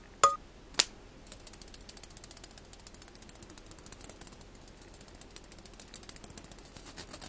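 A mesh skimmer ladle is tapped twice with sharp, bright clicks, then scratched quickly across its mesh. The scratching makes a steady, ratchet-like rasp of fast, crisp high-pitched ticks that continues to the end.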